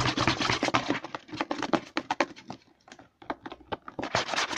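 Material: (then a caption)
Plastic. Fingertips and short nails scratch and rub the label of a hollow white plastic CeraVe lotion bottle with a green pump, held upside down over a table. Quick, irregular bursts of dry, bright scratching and soft tapping follow each other fast, with a brief near-silent pause partway through before the rubbing resumes.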